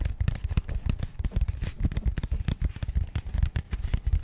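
A small, rigid, matte grey cardboard box held upright in both hands is tapped rapidly with long painted nails. The result is a dense run of short, dull, low thuds with almost no ring, each one dying away at once.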